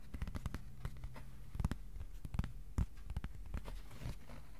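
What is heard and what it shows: A thin, flat white cardboard sheet about A4 size is held flat and tapped with the fingertips. The result is a quick, irregular series of soft, dull taps that are low and muffled, each stopping almost at once with no ring.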